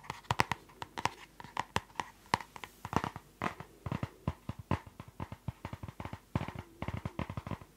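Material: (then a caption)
Plastic. Long nails tap and scratch the plastic cover and spiral of a closed purple spiral notebook. About 35 quick, dry clicks come in an uneven stream, each with a bright, papery-plastic tone centered near 940 Hz. A faint scratchy rasp runs between them, and each click stops almost at once.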